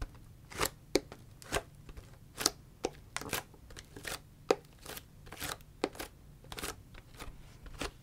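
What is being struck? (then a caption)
Plastic drink bottle. Long fingernails tap and scratch a large, clear PET Ito En tea bottle that looks empty and has a green paper-like label. About fifteen short, crisp, plastic clicks and scrapes sound with bright high edges and a hollow tone near 470 Hz. Each hit dies away almost instantly.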